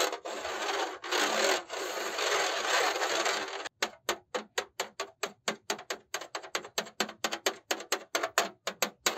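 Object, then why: Perforated metal mesh laptop cooling pad. A black dual-fan laptop cooling pad with a perforated metal mesh, held upright, is rubbed and scratched with the fingertips across the mesh and along its top edge. It opens with nearly four seconds of continuous, dense, bright rasping. That gives way to a quick, uneven run of short, separate scratching strokes, each a crisp, dry rasp.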